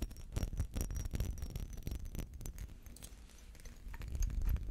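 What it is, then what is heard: Textured glass perfume bottle. Fingernails scratch a small, hollow, textured glass perfume bottle with a metal cap, held in both hands. The result is a dense, irregular run of quick scratchy strokes, heavy with low handling rumble, with a faint thin high tone above.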